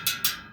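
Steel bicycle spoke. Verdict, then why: Tight. A tightened steel bicycle spoke is plucked twice while truing a wheel, giving two bright, high metallic pings that ring briefly and fade. Now tight, it sounds different from the other spokes.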